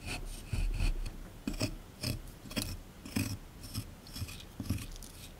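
A small chisel tool held in the fingers scrapes and chips at a solid plaster block sitting in a tray. It makes a series of short, gritty rasping strokes with bright scratchy edges and soft low thuds underneath, separated by quiet pauses.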